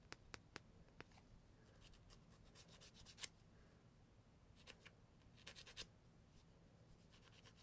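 A thin, flat, solid brown grit emery board is held against the nail edge of one hand and filed in short strokes. It makes quiet, dry, bright scratching rasps, with a few sharp ticks at the start and clusters of louder strokes later, over a faint low background hum.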